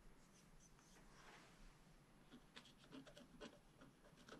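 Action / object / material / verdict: scrape / black-coated scratch-art card scratched with a wooden stylus / coated paper / none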